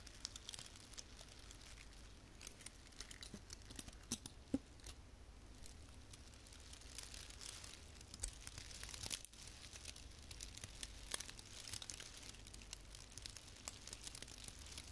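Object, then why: Artificial pine branch with plastic needles. A small frosted artificial fir branch with plastic needles is held in both hands while long painted fingernails rub and scratch across the needles. The result is a soft, steady, bright crinkling and scratchy rustle, dotted with many tiny sharp ticks and brief louder crackles throughout.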